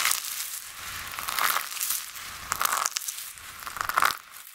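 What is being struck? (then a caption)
Pile of soap shavings dusted with starch. Flat palms and fingertips with short nails press and rub into a large, loose heap of dry, brittle pink, orange and purple soap shavings dusted with white starch. Bright, crisp crinkling and crunching comes in a few louder bursts, with quieter rustling in between, and the flakes crush and crumble under the hands.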